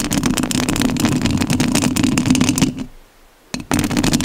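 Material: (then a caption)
Metal mesh. Long nails scratch the metal mesh grille of a rhinestone-covered studio microphone, making a dense, rapid rasping with a bright crackle over a steady low hum. The scratching stops into near silence for about half a second, then a brief scrape returns and the scratching resumes.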